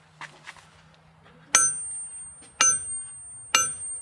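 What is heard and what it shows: A hammer strikes a boulder of ringing rocks three times, each blow giving a sharp, bright metallic clang that rings on with a high tone. Two softer taps come before the main strikes. The ringing sustains and keeps going after each hit, as is normal for these rocks.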